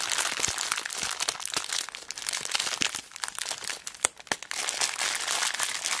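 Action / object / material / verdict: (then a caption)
shake / plastic zip bag filled with beads / plastic / none. A small clear plastic zip bag full of beads is squeezed and crinkled with fingertips and long black nails. The result is a dense, bright, irregular crinkling with sharp crunchy clicks throughout, easing briefly near the four-second mark before resuming at full intensity.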